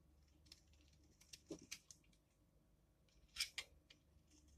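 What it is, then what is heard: Dry soap bar being shaved. A metal blade scrapes and shaves along the edge of a solid, dry, palm-sized yellow laundry soap bar held in the left hand, and curls of soap pile up below. The sound is a quiet series of short, bright, crisp scraping strokes with almost no ring, with about nine distinct cuts and the loudest near the end.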